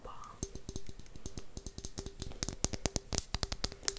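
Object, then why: Square glass bottle. An empty, faceted, square clear glass bottle is held up and tapped with long nails, producing a quick, uneven run of about two dozen short, bright clinks. Each tap has a high glassy ping over a soft low note and dies away almost instantly.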